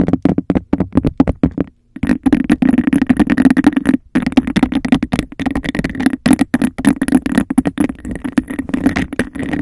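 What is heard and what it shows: A clear textured glass cup held hollow over a microphone, tapped on its base and scratched along its textured sides by long nails. The taps come fast and dense, leaving a hollow, resonant ring around 290 Hz under a bright, gritty scratching texture, broken only by brief pauses near 2 and 4 seconds.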